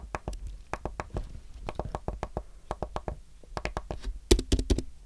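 Fingertips type on a white Apple Magic Keyboard with a thin, solid aluminum base and plastic keys, tapping out a steady run of short, dull clicks with little ring. Near the end, three sharper, brighter taps stand out above the rest.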